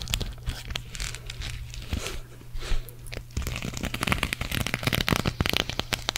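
Long nails scratch a green sequin cactus patch, first across the sequins and then over its knit fabric back after it is turned. The result is a dense, crinkly, crackling scratch with bright clicks over a steady low hum, growing louder and busier in the second half.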